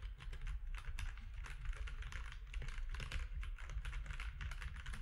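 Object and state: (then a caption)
Plastic mechanical keyboard. Fingertips type continuously on a compact plastic mechanical keyboard with gray and cream plastic keycaps and a hollow case. The result is a steady stream of quick, short clacks with a deep, hollow thump beneath each keystroke.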